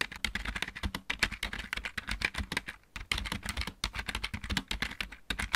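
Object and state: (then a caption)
Plastic mechanical keyboard. Both hands type rapidly with their fingertips on a full-size backlit plastic mechanical keyboard. A dense stream of sharp, bright key clicks rides over a low thud from each keystroke, with a brief pause just before the three-second mark.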